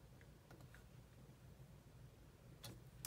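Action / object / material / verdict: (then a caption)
tap / plastic laptop keyboard / plastic / none. Long manicured nails and fingertips rapidly tap the low-profile plastic keys of a grey laptop keyboard, while the other hand rests on a mouse. Quiet, short, bright clicks sit over a steady low hum. The clip ends on a couple of louder, sharper taps.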